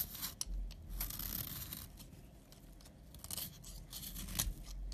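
A utility knife blade scrapes the surface of a solid tan bar of soap, shaving it into powder. Quiet, dry scraping and crunching strokes repeat irregularly, with bright, hissy bursts over a low rumble and a few sharper ticks.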